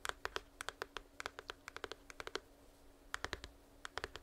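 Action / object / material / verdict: tap / small printed cardboard box / cardboard / none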